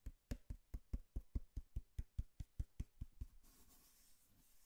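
Long fingernails tap a small, worn, hollow brown corrugated cardboard box with torn flaps, held in the hand, in a steady run of 17 dull, low thuds with no ring. The taps then give way to a faint, high scratching hiss as the nails scratch the box.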